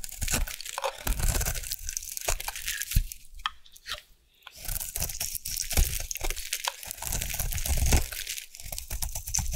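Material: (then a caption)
Soap. A solid round orange bar of soap, held in the hand, is scraped with a metal blade into shavings. Dense, bright crunching and scratchy tearing sounds run throughout over a low, thumpy body, with a brief near-silent pause around the four-second mark before the scraping resumes.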